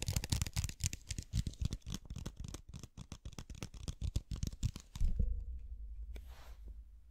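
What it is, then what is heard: Plastic bottle of water beads. A clear plastic bottle full of blue water beads is tapped and scratched with the fingernails and tilted in the hands. For about five seconds there is a quick, uneven run of dull, low-heavy taps and scratchy clicks. Then a firmer thump gives way to a softer, sustained low rumble as the beads shift and settle, fading out.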